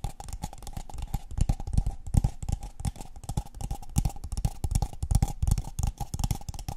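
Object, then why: Kraft paper cup. Long painted fingernails tap and scratch the walls and base of a tall, empty, hollow brown kraft paper cup held in the hands. Rapid, irregular hollow taps land as dull low thumps with crisp scratchy clicks and almost no ring. A faint steady tone sits near 800 Hz underneath throughout.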